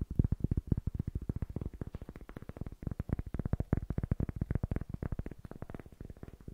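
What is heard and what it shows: A small, solid-looking rectangular cork block is held upright in both hands while fingertips tap its face rapidly in front of the microphone. About 48 quick, soft, dull thuds follow one another in an even patter, deep and muffled with almost no ring and nothing bright.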